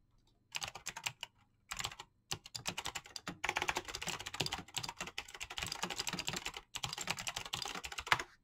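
Fingertips with short nails tap the keys of a full-size mechanical keyboard with clicky green switches and PBT plastic keycaps in fast typing. Rapid bright clicks and clacks come in quick bursts, with brief pauses early on and near the end. Each keystroke is sharp and dies away almost instantly, with little low-end thump.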